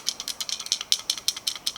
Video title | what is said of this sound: My Roush Active Exhaust was not needed | When I shake it, something in here is falling apart and is loose.